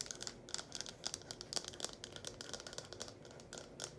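Long painted nails rapidly tap and scratch the cone and spout of a small red hollow plastic funnel held in both hands. The result is a quick, uneven flurry of sharp, bright clicks with crinkly, scratchy texture and very little low end.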